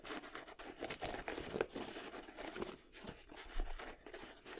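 Fingers and nails scratch and tap the leather/nubuck upper and tongue of an empty white and red Jordan 7 sneaker held vertically. The result is a continuous dry, crinkly scratching with soft, short taps mixed in, quiet and close.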